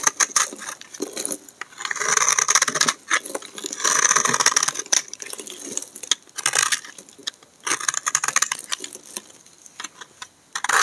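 A solid pink bar of dry soap, held in the hand, is carved and scraped with a utility knife blade, shedding flakes and powder. Crisp, bright crackling scrapes come in bursts, with longer sustained shaves around the second and fourth seconds between rapid dry ticks and crunches. No low end is heard.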